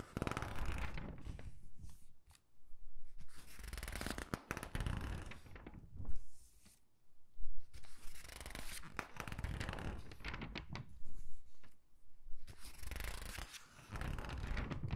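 Fingertips with long pink nails turn, rub and squeeze the pages of a thin glossy paper clothing catalog lying open on a dark table. Soft rustling and crisp, bright crinkling come in bursts, with brief quiet gaps between page turns.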